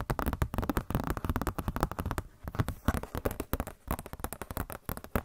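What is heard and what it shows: A glossy paper Blizzard Shop catalog booklet is handled and scratched with long nails. Dense, rapid crackling scratches and rustles run throughout, with brief lulls near the middle. Each sharp bit dies away almost instantly, with most of the energy low and dull.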